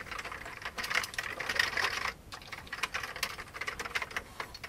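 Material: Plastic.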